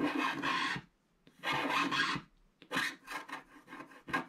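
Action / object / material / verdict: scrape / wax-coated scratch art card scraped with a wooden stylus / waxed paper / none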